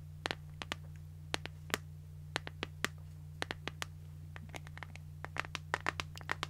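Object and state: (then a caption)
Plastic phone case tapped with nails. An empty, transparent plastic iPhone case is tapped and scratched with long nails held close to the mic. Sharp, bright clicks and brief scratchy ticks come in irregular bursts with almost no ring, over a steady low hum.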